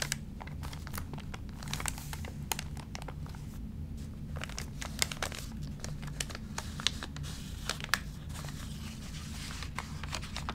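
Fingertips rub the crinkled pages of an open, water-damaged paper magazine and flip a page. A dry, papery crinkling and rustling runs throughout, broken by sharp, bright crackles over a steady low hum.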